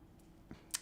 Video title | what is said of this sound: The Missing Ingredient with Gwen S3 Ep 06 | when you tap it, it just sounds a little bit hollow